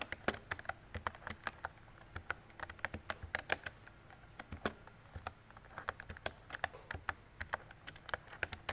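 Fingertips and long decorated nails type on a mint-green retro mechanical keyboard with round plastic keycaps and a hollow body. The result is a steady, uneven stream of short, sharp plastic clacks with bright, clicky tops and almost no ring, over a faint low background hum.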